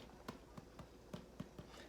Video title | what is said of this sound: Homemade bread with some tricks of the trade | see if it sounds Hollow I think another five minutes I think because the top is done but the bottom is not